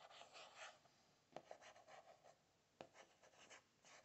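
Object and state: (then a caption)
Spiral notebook cardboard cover. A fingertip and nail tap and scratch the printed "today is a new beginning" cardboard cover of a closed spiral notebook. Soft, dry scratching rasps run throughout, broken by two sharp, brief taps. The sound is quiet and close, with almost no low end.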